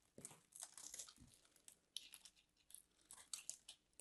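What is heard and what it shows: A palm-sized solid white bar of soap with a grid pattern is held in the fingers and carved and scraped with a metal craft knife blade, shedding flakes. Quiet, dry crunching and crinkling scrapes come in short bright bursts with little low end. Each cut stops almost at once.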